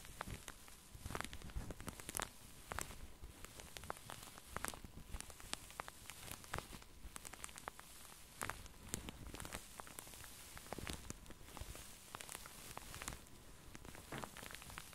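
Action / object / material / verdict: scrape / padded satin sleep mask / satin / none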